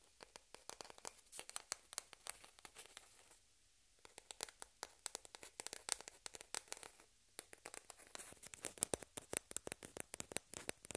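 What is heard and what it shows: A single small, hollow white plastic table-tennis ball, held in both hands, is tapped and scratched with long red-painted fingernails while spare balls rest unused on the cloth. Rapid, bright clicks and scratchy ticks come in dense bursts, with two short quiet pauses between them.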